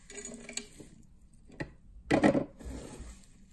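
Cupped bare hands scoop, squeeze and rub a pile of small, brittle pink crumbs of microwaved dry soap together over a wooden surface, with a knife lying idle nearby. Faint, dry crackling rustles are broken by a couple of sharp ticks before a louder, gritty crunching squeeze swells in the middle. It then fades back to soft, granular rubbing.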